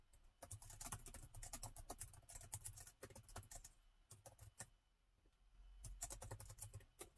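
Both hands type with their fingertips on the black plastic keys of a gold metal-look laptop with a hollow body. Fast, uneven bursts of short, bright clicks sit over a soft low thud. The typing slows to a near pause around the five-second mark, then picks up again.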